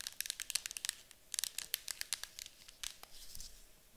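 Long acrylic nails tap and scratch a small, hollow, cylindrical yellow-green printed metal citronella candle tin that seems filled with candle wax, first held and then standing on a table. About twenty quick, bright clicking taps land over a soft, crinkly scratching. The sound is quiet and crisp, almost all high treble with very little low end.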